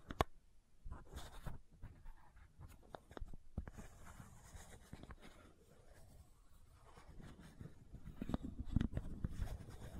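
Long nails scratch the white plastic cap of a supplement bottle, making a quiet, dry scraping with short clicky taps scattered through it. The sound is mostly low rumble with faint bright ticks, and it grows a little louder and denser toward the end.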